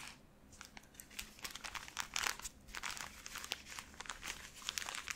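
A full, soft cylindrical pack of 120 cotton pads in thin plastic wrap is held in both hands and squeezed and crinkled with the fingertips and long painted nails. It gives a steady run of bright, sharp plastic crackles and crinkles with little low end, swelling louder around the middle before continuing at an uneven pace.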